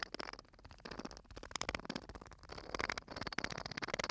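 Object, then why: Small glass bottle with metal screw cap, filled with sand. Fingertips tap and scratch the metal screw cap and the glass of a small glass bottle full of sand, held close to the microphone. Quick, dry clicks and ticks mix with a bright, rustling scrape, each tap dying away almost at once.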